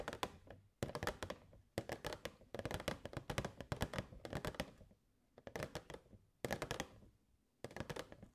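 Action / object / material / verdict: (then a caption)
tap / clear plastic box / plastic / none. Long nails tap rapidly on the front and sides of a hollow clear plastic box with purple fairy lights inside, held in both hands. Short, dry clicking taps with a slightly hollow knock come in quick bursts separated by brief pauses, each tap dying away almost instantly.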